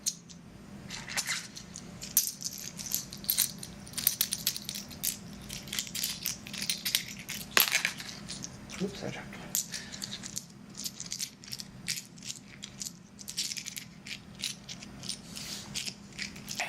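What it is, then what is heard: Seashells tapped together. A couple of collected natural seashells are tapped and rattled together in the hand, making a dense run of quick, bright clicks and clattering that keeps going for the whole clip. The sound is sharp and high-pitched, with each tap dying away almost at once, over a faint steady low hum.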